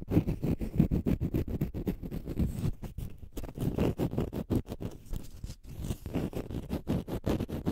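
A green, rounded, porous konjac sponge puff is held in front of the mic and scratched with fingernails. The result is a rapid, continuous series of soft, low, thumping scratches with a dull, muffled texture and short pauses in places.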